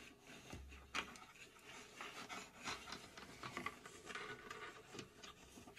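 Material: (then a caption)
Plywood. Long pink acrylic nails scratch and tap the front and top surfaces of a hollow, laser-cut plywood puzzle safe box shaped like a cube. Continuous dry, raspy scratching fills the clip, broken by sharp, bright taps that die away almost instantly, with a soft hollow knock underneath.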